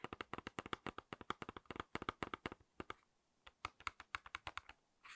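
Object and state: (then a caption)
False eyelash package tapped with nails. Long acrylic nails tap and click rapidly on the front of a small, flat cardboard false eyelash package with a clear plastic blister holding the lashes. About 32 crisp, dry clicks with a bright, hollow plastic ring near 1.2 kHz come in quick runs, pause briefly just before the three-second mark, then resume. The clip ends in a short, soft rustle.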